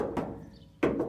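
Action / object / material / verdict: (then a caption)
knock / steel truck body panel / steel / solid. Knuckle knocks on the steel body panel of a 1964 Chevrolet C20 pickup, many of whose body panels were replaced, produce three dull, mid-low thunks centred near 320 Hz, each fading quickly. The panel sounds like solid metal with no body filler.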